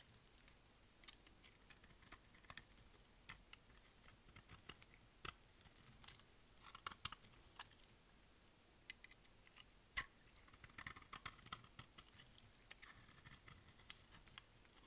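A utility blade scrapes and cuts the faces of a solid, dry, pink rectangular bar of soap held in the hand. The sound is quiet, crisp and bright, with rapid crackling scrapes and sharp little ticks that stop dead with no ring.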